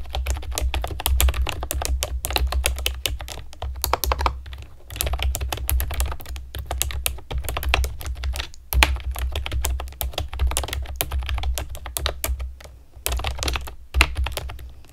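Long nails and fingertips type steadily on a pastel plastic keyboard with round keycaps. The result is a dense run of quick, bright clicks and clacks over a low, steady hum, with brief pauses between bursts.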